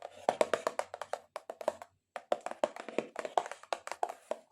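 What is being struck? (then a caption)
Cardboard box. Long acrylic nails tap aggressively on a cardboard box in quick, uneven bursts. The short, dry clicks centre around a hollow mid pitch with bright edges and die away almost instantly. A brief pause falls just before the two-second mark.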